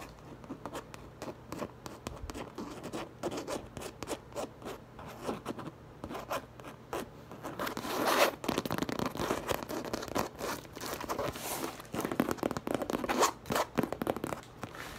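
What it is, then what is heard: Coated canvas tote bag. Long lavender acrylic nails rapidly scratch and tap across the front panel of a large teal tote bag printed with a French design, made of coated canvas or vinyl and standing upright and hollow. The result is a dense stream of dry, zipper-like scratches and quick muted taps, with louder, brighter scraping bursts around the middle and near the end.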